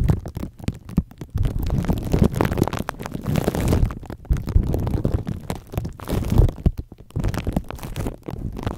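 Fingertips of both hands rub and scratch clear, crinkly plastic cling wrap stretched over a microphone head with hollow foam or mesh underneath. The result is a dense, muffled crinkling and scraping that is heavy in the low end with almost no bright top. It comes in sustained bursts broken by brief quieter gaps.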